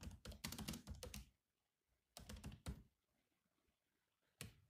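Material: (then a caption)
Plastic. Fingertips of both hands type on a grey laptop keyboard with black plastic chiclet keys, producing quick runs of clicky taps. A dense burst of keystrokes is followed by a pause, then a shorter run and a final single tap. Each keystroke is a brief, dry click with a low thunk and a bright edge that dies away almost at once.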